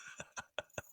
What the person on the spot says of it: Oh, he's even got bells. Eric's shaking it. It's got bells.